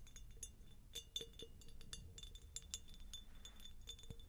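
Long nails tap rapidly on a medium, hollow, empty faceted cut glass jar held close to the mic. The result is a quiet stream of short, bright glassy clinks with a faint ring near 3.5 kHz. A soft low rumble sits underneath throughout.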